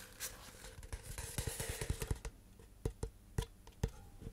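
A tall, hollow cardboard composite can with a metal end is held horizontally close to the mic and tapped with the fingertips along its body. About 14 soft, dull, low thumps with very short decay are heard, coming quickly at first and then more sparsely, some carrying a brief bright click.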